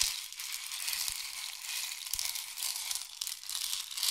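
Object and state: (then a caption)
Wooden rain stick. A long, hollow, painted wooden or bamboo rain stick is tilted slowly, sending its filling trickling down inside. The result is a steady, bright, rushing patter of tiny grains that swells and eases gently, with a few faint low knocks underneath.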